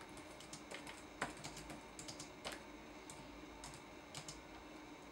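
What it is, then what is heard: Plastic laptop keyboard. Fingertips tap the plastic keys of a red-backlit laptop keyboard in a typing action. The result is a quiet, uneven run of soft, bright clicks over a low hum, with a few louder taps standing out.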